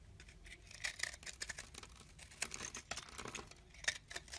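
A palm-sized, pale white bar of solid soap with green flecks is held in the hand while a metal blade on a teal handle scrapes and carves its surface, shaving off flakes. Quiet, dry, crisp scraping strokes come in quick bursts, bright and hissy with little low end and almost no ring.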